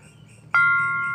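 A keprak metal plate is struck once, producing a bright metallic ring with a pitch around 1.4 kHz and steady overtones above it. The tone sustains for the rest of the clip, only slowly fading, so the plate has a good long sustain.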